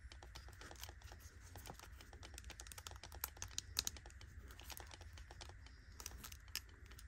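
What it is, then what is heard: Metal cushion compact tapped with nails. A palm-sized, round gold metallic cushion compact, a hollow case with a puff inside, is tapped with long nails on its rim and lid, then opened by hand. Many quick, bright, dry clicks and taps come in bursts, a few sharper ones standing out, over a steady low hum. Each tap dies away almost instantly.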